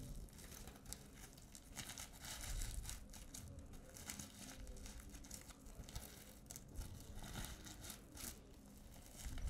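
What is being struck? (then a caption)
Plastic sequins on a fabric pouch. Long painted nails scratch and brush across a flat, soft, hollow reversible-sequin pouch of multicolour plastic sequins on fabric. The result is a steady, crinkly rustling with bright, scratchy bursts as the sequins flip and click, over a low, dull rumble from the fabric.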